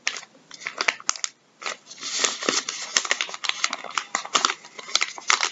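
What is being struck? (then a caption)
Soft plastic wet wipes packet. Gloved fingertips scratch, tap and pick at the label of a full, soft plastic packet of wet wipes resting on a wooden table. The result is a dense run of bright, crinkly scratching and short, dry taps with almost no low end, broken by a brief quiet gap early on.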